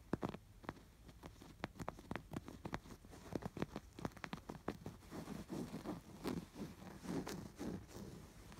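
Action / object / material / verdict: scrape / embroidered woven fabric pillow / canvas fabric / none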